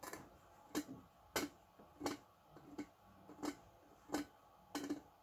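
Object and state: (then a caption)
Stainless steel teapot. Fingertips and nails tap the body of a small, shiny, hollow, empty-looking stainless steel teapot with a lid and handle. About ten short, bright metallic taps with a ringing tone near 290 Hz land at uneven intervals, and each dies away quickly.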